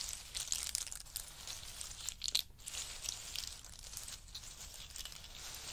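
Fingertips of both hands rummage through and push around a heap of dry, hard-shelled pistachio nuts resting on a fur mat. The result is a steady, bright, crisp clatter of shells clicking and crunching against one another, with a few louder rustling bursts and very little low end.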